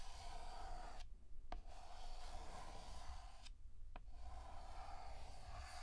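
Fingertips hold a pink chalk stick and draw flower outlines on a flat, solid black chalkboard with long scratching strokes. A steady, gritty scrape with a bright edge runs throughout, broken by two short pauses, each ending in a quick tick as the chalk meets the board again.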